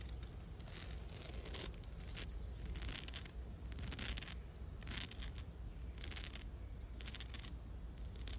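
Long dark red nails scratch and tap the rough, lichen-covered bark of a solid fallen tree log lying in grass. Bursts of dry, crackling scratching rise and fall over a steady low rumble.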